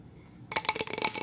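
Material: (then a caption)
Pine wood. A flat, solid painted pine plank sign decorated with snowflakes and a deer is tapped and scratched by long nails. After a brief quiet moment, a quick run of bright, clicky taps with scratchy texture follows. The taps are dry and short, with almost no low end and no ring.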